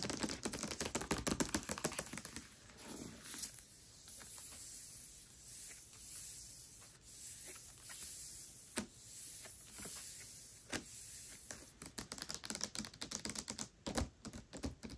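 Long nails tap and scratch the glossy paper dust jacket of the hardcover book Tress of the Emerald Sea as it lies flat. Quick, light, irregular clicks at the start and end frame a middle stretch of soft, airy scratching swells with a few sharp taps. The sound is bright and crisp, with little low end.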